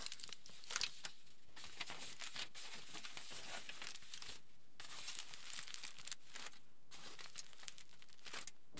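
A wrinkled sheet of aluminium foil lying flat is pressed and rubbed with the fingertips of both hands. It makes dense, bright crinkling and crackling in bursts, with brief quieter pauses between them.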